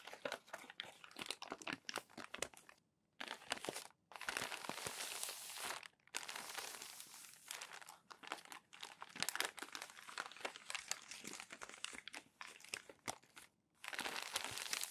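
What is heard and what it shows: Hands smooth crumpled glossy magazine pages flat with their palms and flip them over, making dense, bright crinkling and crackling with sharp rustling bursts. The sound comes in long continuous stretches broken by a few brief silent pauses.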